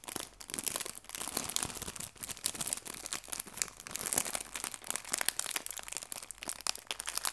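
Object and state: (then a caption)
Plastic bag of artificial leaves being crinkled. A small clear plastic bag holding fabric leaves is folded and squeezed in the hands, then crinkled with fingertips and long nails. The result is a steady stream of dense, bright crinkling and crackling with sharp snaps and very little low end.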